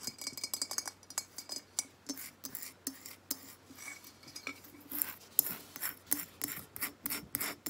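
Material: Terracotta.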